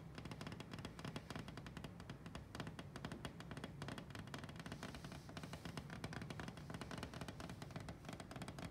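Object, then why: Glass pane in a wooden cabinet door. Fingertips and nails tap and brush rapidly across a flat glass pane set in a dark wooden display cabinet door, with floral china plates behind it. The result is a quiet, steady stream of dense, short clicks and taps with a dull low thump under them and almost no ring.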